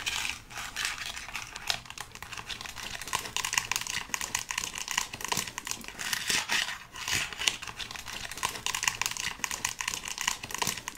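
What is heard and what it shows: Long acrylic nails tap and scratch along the hollow-looking molded finger bones of a life-size white plastic skeleton hand prop held up close. Dense, irregular bright clicks and dry, crinkly scratching run throughout, each tap short and sharp with almost no ring and very little low end.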